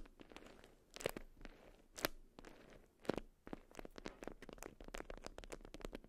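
A watermelon-print beeswax wrap bundle made of wax-coated cotton is scratched and tapped with long acrylic nails. Dry, crunchy crinkles and scratchy rustles are broken by sharp, bright taps at an irregular pace, with a few louder crackling bursts.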